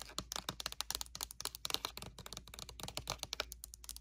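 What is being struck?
Plastic lotion bottle.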